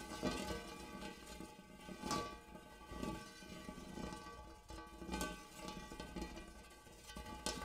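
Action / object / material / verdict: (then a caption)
tap / large hammered metal bowl / metal / none. Fingernails on both hands tap and scratch inside a large, empty, hammered brass-colored metal bowl. A series of bright clicking taps with soft scraping between them sets off a shimmering metallic ring with steady harmonic tones around a low fundamental, each tap fading within about half a second under a faint low hum.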